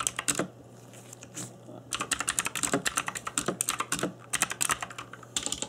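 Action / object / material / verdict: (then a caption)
tap / mechanical keyboard with plastic keycaps / plastic / none. Fingertips in black nitrile gloves type on an RGB-backlit plastic mechanical keyboard with plastic keycaps. The result is a run of sharp, bright clicky key taps in quick bursts, with a brief pause near the start and a faint steady low hum beneath.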